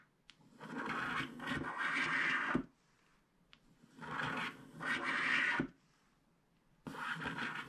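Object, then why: Coated paper scratch card scraped with a wooden stylus. A wooden stylus scrapes a vertical stripe down a flat, black-coated paper scratch card held down by one hand, revealing teal underneath. Dry, rasping scratches come in long bursts separated by short quiet pauses, with a bright, papery texture.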